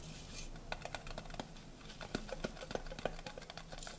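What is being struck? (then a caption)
Stacked tinplate tea canisters. A horizontal stack of colorful, hollow tinplate tea canisters is held in both hands and tapped with fingernails. The result is a quick, uneven patter of light, dry metallic clicks with a faint tinny ping around 530 Hz that dies away almost instantly, over a soft, steady background hiss.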